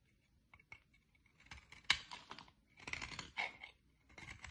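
A utility-knife blade shaves curls off the end of a solid green oval bar of soap. Short, bright scraping and cutting strokes come in uneven bursts with quiet gaps, each dying away almost at once.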